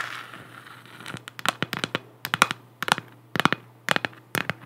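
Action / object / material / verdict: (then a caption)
tap / hollow 3D-printed plastic moon lamp / plastic / none. Long black nails tap and scratch across the textured surface of a large, hollow, spherical 3D-printed plastic moon lamp. A soft scratchy rasp at the start gives way to quick, dry, bright clicking taps in short crackly clusters over a faint low hum.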